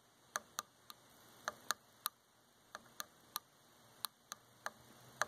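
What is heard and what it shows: Long fingernails tap a dark varnished solid wooden chair arm thirteen times at an uneven pace. Each tap is a short, dry, bright click with almost no ring, centered around 1.2 kHz, over a quiet background.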